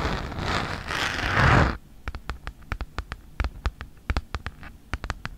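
Long nails and fingertips scratch across a red Mead folder of thin plastic with a hexagon texture, lying flat, making a rough, rustling scrape for almost two seconds. This is followed by a steady series of crisp, short taps on the surface, each with a bright click and a soft low thump.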